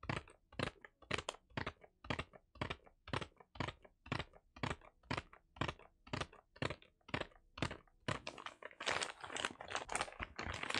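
Fingertips tap and scratch across the surface of a brown kraft-paper-wrapped Seventeen Heng:Garae album package held upright in one hand. Crisp, dry papery taps repeat at about two per second, then turn into denser, hissing scratches for the last few seconds.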